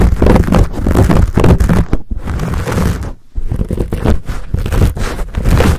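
Hands squeeze, cup and scratch a fuzzy black foam windscreen on a Blue Yeti microphone. The result is a dense, muffled rubbing and scratching that is heavy in low rumble, broken by brief quiet gaps near the two- and three-second marks.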